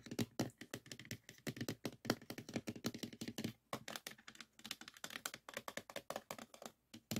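Fingertips and nails tap quickly on the top green disk and on a small clear plastic box full of stacked 3.5-inch floppy disks. The result is a rapid, uneven run of short, dry plastic clicks and taps, each with a hollow low body and a bright crack that dies away almost at once, with a few brief pauses between bursts.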